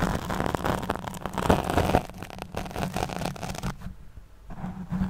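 Long nails scratch and brush across a black foam windscreen over a studio microphone, making close, dense rustling and scraping with a steady low hum underneath. The texture pulses in uneven strokes, drops to a near-quiet hiss around the fourth second, then resumes.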